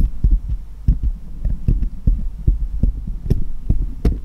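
Small solid steel jeweller's screwdrivers rest on cloth while one, held upright, taps against the others. The result is a quick, uneven series of short, dull, low thumps with faint bright clicks on top and almost no ring. A steady low hum runs underneath.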